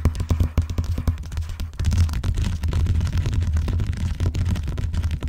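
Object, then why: Vinyl-covered binder. Long nails tap and then scratch across the cover of a large, closed, blue vinyl-covered binder lying flat on a box. Quick, dull, low taps in the first couple of seconds give way to a denser, continuous run of muffled thumping and scratching with little high-end brightness.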